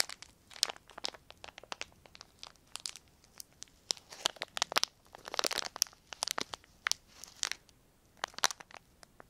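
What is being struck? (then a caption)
Thin plastic film. A small, semi-thick sheet of clear plastic film is crumpled and crinkled between the fingertips of both hands. It makes a rapid series of sharp, bright crackles and crunches with no low end, each snap dying away almost instantly. Denser bursts of crinkling cluster in the middle of the clip.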